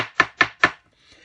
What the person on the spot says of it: once this one's set it does go rock hard